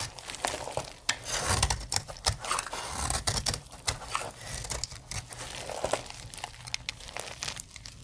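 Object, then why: Bar of soap cut with a metal blade. A metal blade cuts brittle plates off a solid, dry blue soap bar. Quick, dry crunches and crackling scrapes overlap in a steady, uneven stream, bright and papery with a soft low thump under the louder cuts. Each crunch stops short with no ring.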